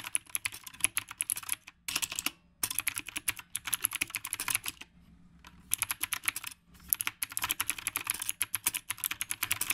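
Both hands type continuously with fingertips on a black retro typewriter-style mechanical keyboard with round plastic keycaps. Rapid, bright, clicky keystrokes come in dense bursts, each tap dying away almost instantly. Brief pauses break up the runs, with a longer quiet stretch near the middle.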